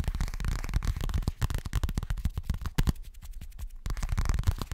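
Nails rapidly tap and scratch a boxy, hollow yellow toiletry bag, probably made of coated fabric. The result is a dense run of dull, low thumps with almost no ring, plus faint scratchy texture. The tapping eases briefly in the middle and then picks back up.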